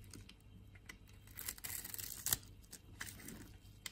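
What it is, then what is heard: Bar of soap being carved. A solid, palm-sized, pink-and-white striped bar of soap is held in the palm and scraped with a metal blade, shaving off curls and crumbs. Soft, bright scraping and crisp tearing strokes come through, with the loudest scrape just past the middle over a faint low hum.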